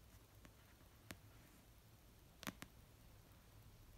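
Fingertips and nails slowly tap an orange paperback novel of solid paper resting on a blanket. A few sparse, soft, dry clicks stand apart over a very quiet, low background hum. Each tap dies away almost instantly.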